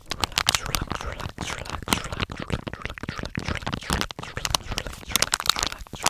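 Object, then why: Soft plastic wipes pouch. A hand-sized, flexible blue and white soft plastic pouch full of face wipes is crinkled and squeezed with fingers close to the microphone. A dense run of sharp, bright crinkles and crackles comes in quick bursts with brief pauses, each snap dying away almost instantly over a faint low rumble.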